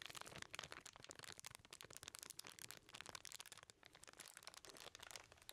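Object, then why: Small package wrapped in aluminum foil. A small package wrapped in crumpled aluminum foil is held up in both hands while fingertips crinkle and rub the foil. A quiet, steady stream of dense, bright crackles and rustles continues throughout, mostly high in pitch with almost no low end and no ringing after each crinkle.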